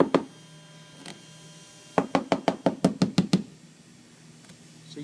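Someone taps across a gel-coated fiberglass boat deck to locate a hollow void, marking its edges in pencil so its size is known. One knock comes early and a faint one follows, then a quick run of nine hollow, mid-pitched knocks. The hollow sound reveals a void under the gel coat.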